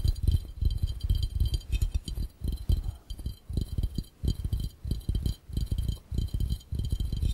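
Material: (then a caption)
Glass. Fingertips of both hands tap quickly on an empty, hollow, clear round glass fishbowl. The result is a fast, irregular patter of dull, low thumps that die away at once, with a faint bright hiss above.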